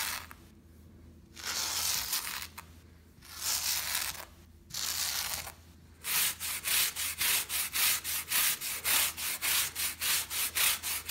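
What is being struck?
Shag fabric rug brushed with plastic bristle brush.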